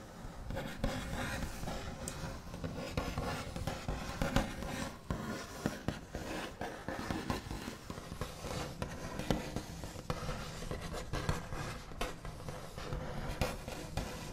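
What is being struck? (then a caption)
Painted wooden tabletop. The backs of the fingernails of both hands tap and trace across a large solid wooden tabletop with a smooth white finish. The result is a dense, continuous stream of quick scratchy taps and rubbing strokes with a heavy low, woody body, little high content, and almost no ring. The level stays fairly steady throughout, with occasional sharper taps standing out.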